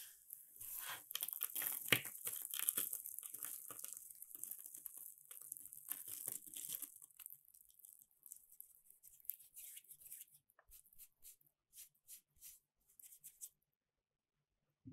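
Fingertips and palms squeeze, crumble and rub a large heap of thin, dry, brittle purple soap flakes cut from bar soap on a dark surface. Dense, bright crackling and crinkling fill the first seven seconds. The sound then thins into sparser, quieter crisp crackles that trail off to near silence.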